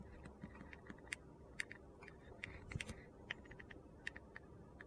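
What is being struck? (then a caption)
Bar of soap scraped with a utility knife. A utility knife scrapes and shaves the surface of a solid orange and pink glitter bar soap turned on its side. A string of short, crisp, dry ticks and scratches sounds over a low, steady background hum, with no ring after each stroke.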